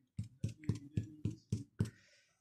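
A freshly baked white bread loaf, just out after 25 minutes at 200 degrees, is tapped eight times, giving short, dull, hollow thumps low in pitch with almost no ring. The hollow sound shows the loaf is cooked through, with a soft crumb and good bubble formation inside.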